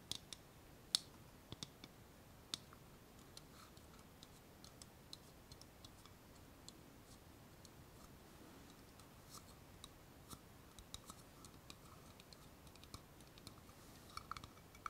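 Long painted nails tap and click on a small, empty, hollow clear plastic cup held in the hand. The result is a scattered run of quiet, very short, bright clicks over a faint background hiss. A few louder taps stand out, with no ring after any of them.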